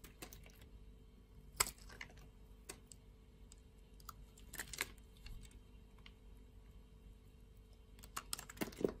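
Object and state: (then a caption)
Bar of soap being sliced. A metal utility-knife blade slices thin sheets from the surface of a solid purple bar of soap held in the palm. It makes quiet, crisp, bright scraping clicks that come in short, irregular bursts and stop almost instantly, over a faint steady low hum.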